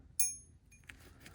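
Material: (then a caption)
Silver. A genuine silver bar is tapped for a ping test and gives a bright, high ringing ping that fades over a fraction of a second. A second, weaker ping follows, then a couple of faint taps. The real bar rings better than the fake one it is compared with.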